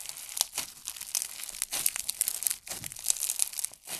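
Hands squeeze, press flat and crush pink slime filled with tiny foam beads. The result is a dense run of quick, bright crackling and crunching pops, with almost no low end and no ring after each pop.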